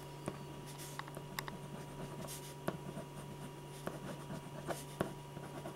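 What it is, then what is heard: Paper drawing sheet. A silver metal ballpoint pen draws a portrait in small scratching strokes on a large, thin, flat white paper sheet on an easel board, while the other hand rests on the sheet. Quiet, short scratchy strokes and light taps come through over a steady low hum.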